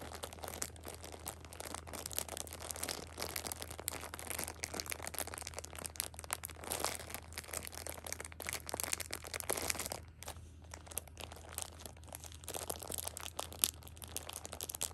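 Fingers with long nails squeeze and scratch the plastic wrap along the top edge of a plastic-wrapped six-pack of pocket tissues. The result is dense, continuous crinkling and crackling with bright, high rustle, a brief quieter lull around the ten-second mark, and a steady low hum underneath.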